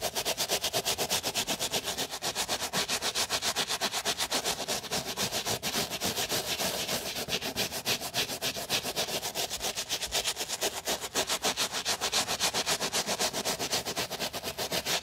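A white mesh and leather sneaker, held in gloved hands, has its mesh side scrubbed with a wooden bristle brush and foam. The result is a steady run of quick, bright, hissy brush strokes at roughly four per second, with little low-end weight.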